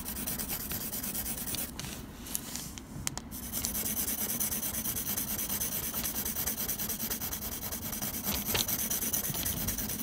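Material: Paper.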